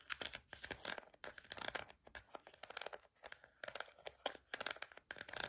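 Long nails tap and scratch the rim and slotted vents of an orange plastic flower-shaped lid, with gel beads visible underneath. The result is quick bursts of bright, crisp clicking and dry scratching, separated by short quiet gaps, with almost no low end.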